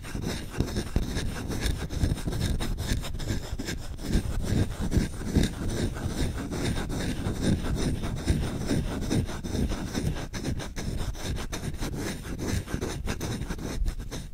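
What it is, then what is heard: Wooden spoon being scratched. Short fingernails and fingertips scratch fast and aggressively across the ring-grained bowl of a wooden spoon held up in the hand. The result is a dense, continuous, low-heavy rasping and rubbing with uneven strokes blurring into one another and little bright content.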